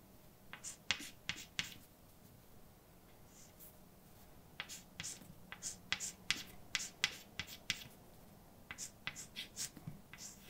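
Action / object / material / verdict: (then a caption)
scrape / chalk stick on painted blackboard / chalk / none. A hand writes words with a white chalk stick on a large, flat, dark painted blackboard with a solid surface. About two dozen short, bright scratching and tapping strokes come in quick bursts, separated by brief quiet pauses. Each stroke is crisp and high-pitched, with almost no ring.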